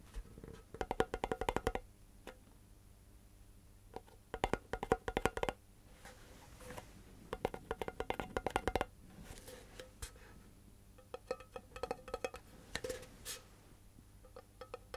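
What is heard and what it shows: A tall, hollow cardboard composite can with a metal base is held sideways and tapped with the fingertips of both hands. Quick bursts of dry, hollow taps carry a woody resonance around 457 Hz and die away almost instantly, separated by quieter pauses and scattered lighter taps over a faint low background hum.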